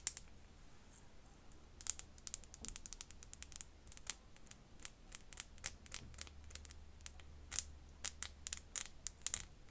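A tiny glass bottle is tapped and scratched with fingernails, making a quiet stream of sharp, bright clicks and light scraping. The taps come in irregular quick bursts, each dying away almost instantly, over a faint steady low hum.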